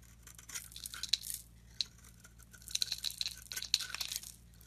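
A solid oval green soap bar held in the palm is shaved with a metal utility blade into thin curls. Bursts of dry, bright scraping and crisp crinkling alternate with short pauses, punctuated by sharp high clicks as the blade catches, over a faint steady low hum.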